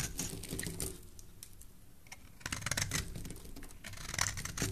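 A solid mint green bar of soap is held in the hand and shaved with a metal blade. Crisp, bright scraping strokes come in quick scratchy bursts, with a quieter stretch in between and a faint low rumble underneath.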